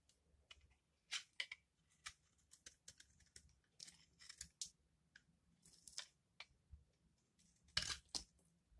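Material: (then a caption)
Soap. A palm-sized rectangular bar of dry yellow laundry soap is held in one hand while a small metal blade scrapes and shaves its edge, sending soap shavings falling away. The sound is a series of quiet, bright, crisp scraping crunches and short flicks with very little low end, the strongest pair near the end.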